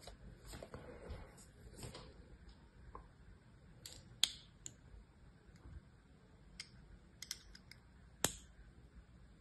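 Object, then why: Bar of soap scored with a small metal knife. A solid cream-colored bar of soap with an embossed logo, held in one hand, is scored and scratched in lines with the tip of a small metal knife. Soft, bright scraping runs through the clip, broken by several sharp, crisp clicks as the blade cuts into the surface.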